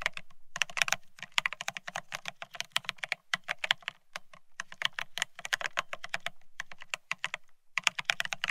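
Rapid two-handed fingertip typing on a Bear65 mechanical keyboard with blank white matte ceramic Cerakey keycaps on a steel plate, resting on white cloth. Dense, bright, clicky keystrokes come in quick bursts with brief pauses, each tap short and sharp with almost no ring and a faint low thump beneath.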